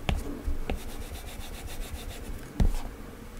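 A plastic Apple Pencil tip makes short, scratchy drawing strokes and taps across the glass screen of a flat iPad fitted with a matte Paperlike plastic protector. The sound is a soft, low, dry rub with faint high scratchy streaks and three sharper taps.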